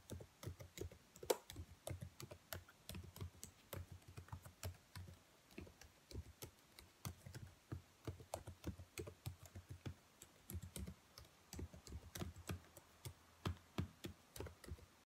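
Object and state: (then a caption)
Plastic laptop keyboard. Long white nails tap across the keys of a black plastic laptop keyboard in a steady, uneven run of quick, dry clicks and soft knocks. Each tap is short with almost no ring, and the sound sits mostly low with small bright tops.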